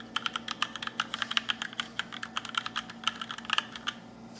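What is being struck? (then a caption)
Mechanical keyboard with plastic keycaps. Fingertips with short nails type on a compact black RGB mechanical keyboard with plastic keycaps. About thirty quick, bright clacks sound in an irregular rhythm, each dying away almost instantly, over a faint low hum.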